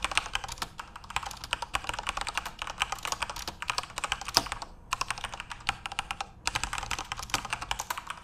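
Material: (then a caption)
Plastic. Fingertips type rapidly on a full-size plastic Corsair mechanical keyboard with RGB backlighting, making dense, bright, clicky keystrokes. The clatter runs almost continuously, with brief pauses near 5 and 6.3 seconds.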